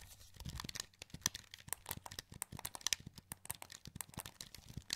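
Thumbs press and click the buttons and joysticks of a wired black plastic PS2 controller, a hollow handheld shell held in both hands. A rapid, uneven series of short, dry, bright plastic clicks and taps is heard, with a faint low thump under some presses and almost no ring after each click.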